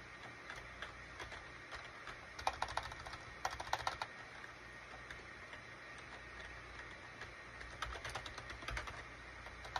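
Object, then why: Plastic computer keyboard. A full-size gray plastic SHIPADOO K600 wired USB keyboard with cream, gray and orange plastic keycaps is typed on slowly with the fingertips of both hands. Bursts of short, bright clicking key taps come in clusters over a steady low background hiss, with quiet gaps in between.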